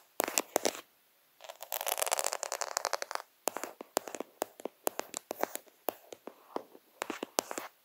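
Fingers quickly scratch and rub the beads of a plastic faux pearl sticker sheet, a sheet of plastic half-pearls. Sharp, bright clicking taps open the clip, then a dense, crackly scratching burst follows. After that come more quick, dry clicks with very short decay.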